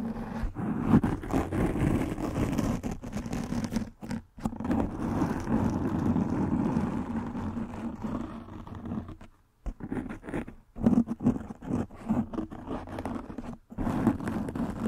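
A soft black foam windscreen over a microphone head is scratched with fingernails and rubbed with fingertips, giving close, muffled scratching and rustling with a heavy low rumble. The dense friction noise runs almost continuously, breaking off briefly a few times before starting again.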